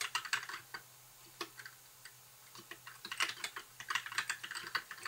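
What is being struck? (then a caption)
Plastic mechanical keyboard. Fingertips type on a compact white mechanical keyboard with plastic keycaps, producing crisp, bright clicks in irregular bursts. A brief lull falls near the middle before the typing picks up again faster. A faint low hum sits under the quick, dry keystrokes.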